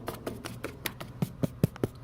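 Taps on a gutter downspout up high give a steady series of short, hollow knocks with a low tone around 150 Hz that die away almost at once, the later ones louder. The hollow ring marks a clear section of downspout, not a dull, debris-filled one.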